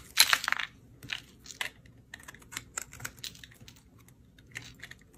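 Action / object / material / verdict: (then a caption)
scrape / bar of soap scraped with a metal blade / soap / none. A solid, dry green soap bar is held in the fingers while a metal utility blade scrapes and slices thin, crunchy layers off its surface. A loud, bright crackling scrape opens the clip, followed by a series of shorter, quieter crisp crunches with brief silences between them.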